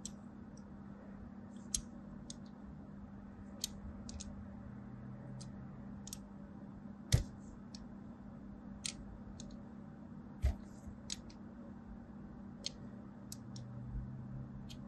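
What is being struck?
Bar of soap scratched with a thin blade.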